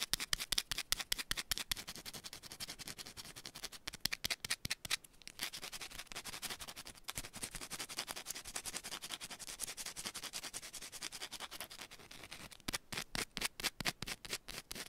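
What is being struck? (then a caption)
Solid soap bar scratched and tapped with long fingernails. A small solid yellow bar of soap held in the hand is scratched and tapped fast and aggressively with long pointed nails. Rapid, crisp, bright clicking taps open the clip and return near the end, with dense, hissy scratching in between. Each tap dies away almost instantly.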